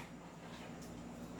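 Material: Nothing is struck.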